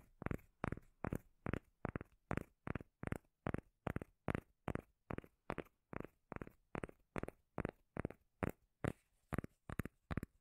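Long nails tap and scratch the face of a round, palm-sized, solid cork lid held close to the mic. About 27 short, dull, bassy thumps repeat at a quick, fairly steady pace, each dying away almost instantly with no ring, with faint scratchy texture between them.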